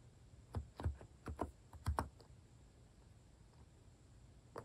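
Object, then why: Plastic keyboard with plastic keycaps. Fingertips tap the keys of a plastic mechanical keyboard with cat keycaps in steady typing. Soft, low, thocky keystrokes come in a quick cluster, then a long quiet pause before one last key press at the end.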